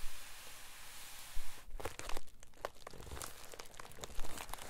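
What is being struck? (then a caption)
Plastic bubble mailer envelope. Bare fingertips press and crinkle a white poly bubble mailer envelope with a silvery lining as it lies on a desk. After about a second and a half of quiet hiss, dry crackling and crunching bursts come in irregularly, with a few louder pops among softer rustles.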